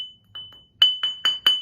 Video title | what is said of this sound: Доводим наждак до ума #4: Диаметр круга и опасные обороты - Расчет чтобы круг не разлетелся | простучать, чтобы звук был. Глухой звук будет, естественно, трещина